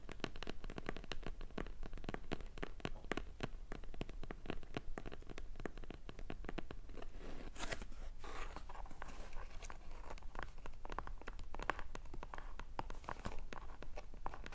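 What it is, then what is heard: Cardboard box. Fingertips and short painted nails tap and scratch quickly on the lid of a small, closed, hollow kraft-cardboard shipping box (a Blissim beauty box) lying on a soft blanket. Both hands then grip the sides of the box. The result is a dense, steady run of dry, short clicks and scratchy scrapes with a low, muffled body, broken by a brief brighter rustling burst partway through.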